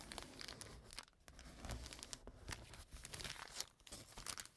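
A flat brown kraft paper bag lying on a table is rubbed and folded with fingers and nails. The result is a close, continuous crinkling with many sharp, bright crackles and short tearing-like rustles.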